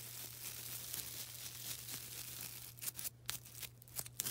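A small, soft, porous yellow-green foam sponge is rubbed and scratched with long black nails. A steady, bright, dry rasping, like tearing, gives way to several short scratchy bursts separated by brief pauses. A faint low hum runs underneath throughout.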